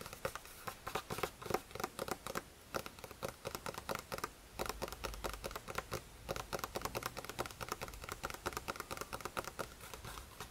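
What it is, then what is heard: Paper notebook page. Fingertips tap and patter on a lined paper page of an open spiral notebook. The result is a rapid, uneven run of soft, dry taps with brief papery rustles and almost no ring, quiet throughout.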